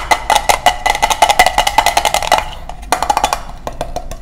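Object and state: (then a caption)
Metal tin. A small round gold metal tin with a lid, closed and probably hollow, is held in both hands and tapped quickly with the fingernails and fingertips on the lid and rim. The rapid, slightly uneven clicks have a short, hollow metallic ring around 730 Hz with bright overtones. They come in a dense burst, pause briefly, then continue more sparsely.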